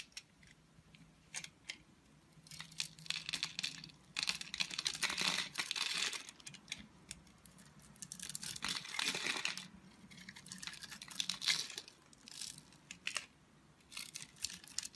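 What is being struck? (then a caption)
Bar of soap. A red utility knife blade scrapes across the grid-scored surface of a solid, oval, multicolored bar of soap held in the palm of a hand with long white nails, shaving off small cubes. Bursts of bright, crisp, crumbly scraping and crackling come in uneven clusters, separated by quiet pauses.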